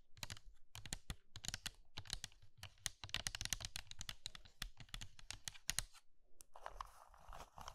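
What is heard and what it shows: Long red nails and fingertips tap and scratch across hollow pink and blue dry soap curls filling a small pink bowl made of soap. Rapid, dry, crisp clicks and crunches come in quick bursts with bright high edges and a low thump. It ends in a steady scratchy rustle.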